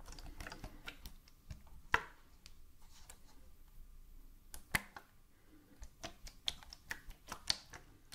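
Medium-length fingernails tap along the side of a hollow white plastic bottle with a red cap, held sideways in both hands. The quiet, dry, bright clicks come at an irregular pace and die away almost instantly, with two louder, sharper taps standing out from the rest.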